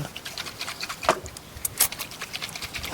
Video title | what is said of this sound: 曲軸負壓變大.進氣道油汙變多的原因! | shake it, so you can hear there is liquid inside